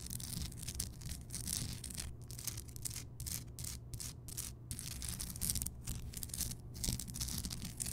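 Long fingernails scratch and tap across the craggy surface of a large, solid, rough Himalayan rock salt block lamp that is lit. The sound is a steady, bright, dry scraping hiss broken by brief silent gaps between strokes, with a soft low rumble underneath throughout.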